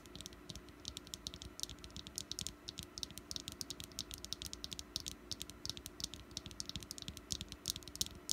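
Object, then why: Small wax pumpkin candle. Long nails tap rapidly on a small, solid orange wax pumpkin candle resting on a mat. The result is a dense run of quick, bright, dry clicks that stop almost instantly, over a faint steady low hum.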